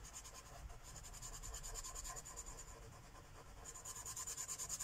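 A light purple Sharpie marker tip is rubbed in fast scribbling strokes across a flat paper coloring book page lying on a wooden table, filling in shapes. The result is a quiet, steady run of bright, hissy scratching strokes in a quick rhythm, with a faint high squeak riding on many of the strokes.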